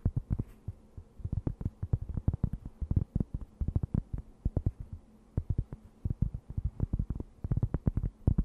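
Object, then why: Thin round cork board. A thin, round, solid flat cork board held close to the mic is scratched with long nails, producing dozens of quick, dry, muffled scratches in irregular bursts with short pauses. The sound is deep and thuddy, almost entirely low in pitch with no brightness, and each stroke dies away instantly over a faint steady low hum.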